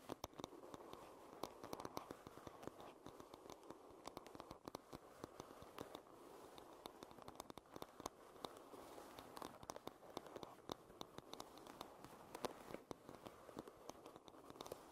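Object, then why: Wooden paddle hairbrush. Long red nails tap and scratch the curved back of a solid light-wood paddle hairbrush lying bristles-down. A quiet, steady stream of rapid, dry clicks and scratchy rustles sits mostly in the midrange, each tap dying away almost instantly.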